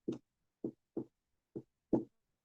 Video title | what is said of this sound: Medicina Interna I - Semiología (Introducción) | acá estoy percutiendo mi escritorio miren eso